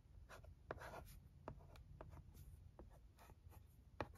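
A stylus held in the fingers writes letters on a flat plastic LCD writing tablet with a blue screen, making soft scratching strokes broken by sharp, short taps on the screen. A steady low hum runs underneath.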